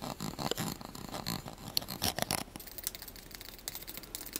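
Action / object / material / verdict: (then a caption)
tap / small plastic spoon / plastic / none. A small light-blue plastic spoon, held in the fingers, is tapped and scratched rapidly with the fingernails. Quick, light, dry clicks blend with bright, scratchy rasps and fade almost instantly, leaving no ring.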